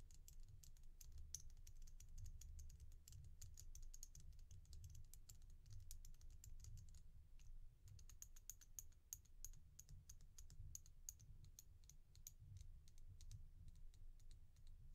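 Long fingernails tap and click rapidly across the solid glossy red-black oval beads of a resin bead stretch bracelet held in the palm. The clicks are short, sharp and high-pitched with almost no ring, over a steady low rumble.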